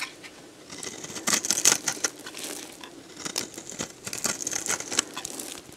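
A metal box-cutter blade scrapes crumbly shavings off a solid, dried, hand-sized green bar of soap. The sound is a series of bright, dry, crunchy scrapes and crackles in irregular bursts, with short, sharp peaks that stop quickly over a quiet hiss.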